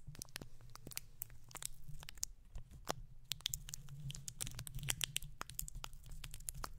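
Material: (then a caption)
Metal mesh. Fingertips of both hands scratch and rub the bare, hollow round metal mesh grille of a condenser microphone. The result is a quiet, steady stream of dry, crackly scratches and sharp bright ticks over a constant low rumble. Each tick dies away almost instantly.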